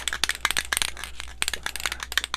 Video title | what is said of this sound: How to Properly Varnish your Paintings in Acrylic, Oil, Water Color and more | You should hear that little marble inside.